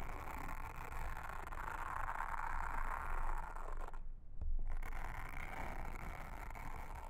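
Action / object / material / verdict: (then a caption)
scrape / silicone honeycomb trivet mat / silicone / none. A pink mascara spoolie brush, held in a hand with long red nails, brushes and scratches a round blue silicone trivet mat with a honeycomb texture, flat and solid, lying on a table. The result is a steady, soft, bristly scratching with a mid-range hiss over a low rumble, which briefly drops out just after the four-second mark before continuing to the end.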